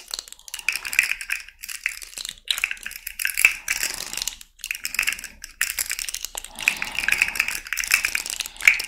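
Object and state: Plastic articulated fidget slug toy.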